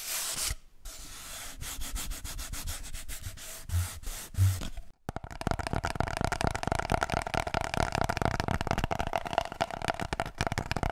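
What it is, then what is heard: Cardboard kitchen roll tube being rubbed. Fingertips rub the surface of an empty, hollow cardboard kitchen roll tube held upright, making a dry, papery rustle with a couple of soft, low thumps. After a brief pause around the five-second mark, the rubbing becomes faster and denser, a continuous scratchy friction carrying a hollow tone near 690 Hz.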